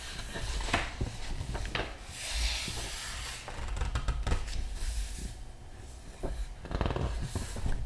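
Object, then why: Large art book with glossy paper pages. A palm and fingertips rub across the glossy paper pages of a large open art book while turning them. Soft, dry rubbing and swishing sounds mix with a faint hiss and occasional sharper paper flicks, all over a low, muffled rumble.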